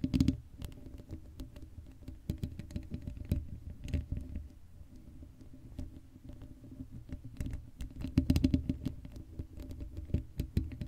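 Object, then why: Metal mesh microphone grille. Long acrylic nails scratch the hollow black metal mesh grille of an uncovered Blue Yeti microphone. The result is a dense, close run of quick scratchy taps and scrapes with a heavy, boomy low-end rumble and faint bright ticks. It grows louder in bursts at the start and again around the eighth second.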